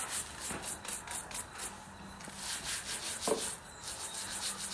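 A wooden-handled bristle brush scrubs the lower suede upper of a worn black suede Nike boot along the sole. The result is a steady, bright, airy rubbing hiss in repeated strokes, with a few soft knocks of the brush mixed in.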